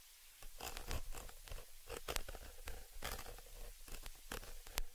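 A thin dark tool scratches and rubs the upper metal mesh capsule grille of a stereo XY microphone. Rapid, rough scraping bursts come through close and raspy like a zipper, each stroke flaring bright over a heavy low rumble. The strokes end quickly with almost no ring.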